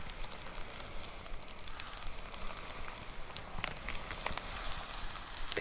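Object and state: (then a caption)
Plastic poly mailer package. Long nails tap the top of a white plastic poly mailer envelope with a box inside. The taps come as quick, uneven, soft crinkly clicks with a bright edge over a steady low rumble and hiss. Each tap dies away almost at once.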